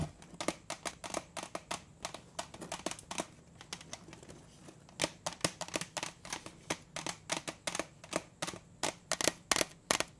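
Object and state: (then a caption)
Metal cookie tin. A large, round, printed metal butter cookie tin, closed with its lid on, is held upright and tapped on the lid and rim with fingertips and nails. About 41 sharp, bright, clicky taps die away almost instantly, with a quieter stretch in the middle before the tapping returns louder and faster.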